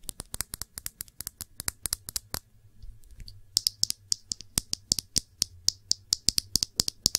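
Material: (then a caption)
Glass. Long nails tap quickly on the glass body of a small glass perfume bottle with blue liquid and a blue cap, held in the hands. About 43 sharp, bright clicks with almost no ring come in fast runs, broken by a brief lull of softer scratching near the middle.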